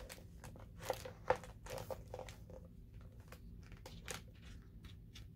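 Fingertips with painted nails smooth, rub and turn the glossy printed paper pages of a large hardcover coffee-table book lying open on a table. Soft, papery rustles and brushing swishes come in quick, uneven strokes over a low, steady background hum, with two sharper crackles near the start as a page is handled.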